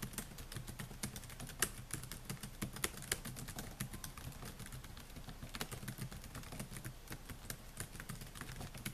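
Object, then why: Plastic laptop keyboard. Fingertips type on the plastic keys of a silver Dell laptop with a metal and plastic body. The result is a steady, quick run of soft, short clicky taps with a low thud under each and a bright edge, the clicks dying away almost instantly.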